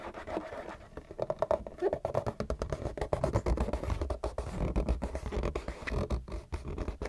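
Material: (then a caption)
Cardboard. Fingernails scratch aggressively and fast across the bottom and sides of a hollow, printed cardboard Kleenex tissue box. The result is a dense run of quick, rasping scrapes with a papery mid-range texture and a hollow, boomy low end, and very little high brightness.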